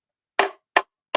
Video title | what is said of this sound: LIVE: Current Boat Loan Rates, Market Update & Boats for Sale Q&A | where it's hitting a nice solid gel coat and solid behind it